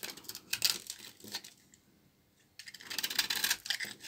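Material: Soap.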